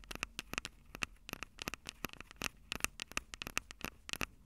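Long acrylic nails tap and scratch the mic capsules of a Tascam DR-05 handheld recorder, which has a plastic body with metal mic grilles. A rapid, irregular string of sharp, bright clicks with a faint ring near 2.7 kHz is heard, with crackly scratching between the taps. Each tap dies away almost instantly.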